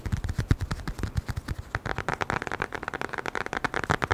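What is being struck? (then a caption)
Small leather wallet. A small, flat brown leather wallet is tapped quickly with the fingertips close to the microphone. About 25 short, dry, low thuds come in an irregular, rapid run, each with a soft, muffled body and almost no ring.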